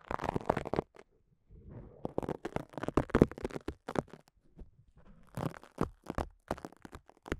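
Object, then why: Self-adhesive fabric bandage. A strip of red self-adhesive cohesive fabric bandage wrap is held in the hands and pulled apart and peeled with long nails. It gives a crackly, tearing texture of many short, dry bursts, with a brief quiet pause near the start before the crackling resumes.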